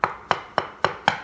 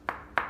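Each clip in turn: First: hollow (debonded) floor tile. Second: solid floor tile.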